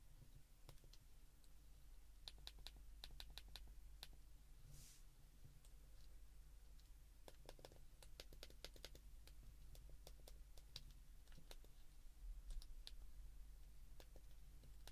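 A white plastic flip phone is held in both hands while thumbs press its number keys in a rhythm. The result is quiet, sharp, short plastic clicks in quick bursts with bright high-end ticks, over a steady low hum.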